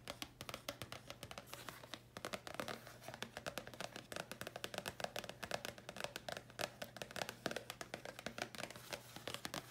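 Long nails tap and scratch a thin red paper card that is held and slightly bent, making a rapid, dense stream of short, crisp, bright clicks with brief scratchy strokes. Each tap dies away almost at once, over a faint steady low hum.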